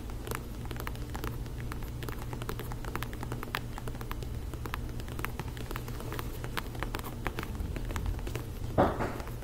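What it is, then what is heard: Faux leather ankle boot. Long nails tap and click rapidly across a black faux-leather ankle boot with a lugged sole, producing a dense patter of short, dry ticks over a steady low hum. Near the end, one louder, brushier hit stands out before the tapping continues.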